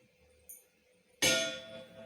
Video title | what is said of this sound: 8th Science Ch 13 Sound DIGI | the sound produced by knocking a vessel without water is different from sound produced by a vessel that has water